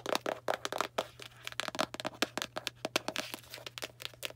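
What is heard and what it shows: Long black nails tap rapidly on a small Arm & Hammer cardboard baking soda box. It makes a dense run of short, dry, crackly clicks and crinkles with bright edges. A faint steady low hum runs underneath.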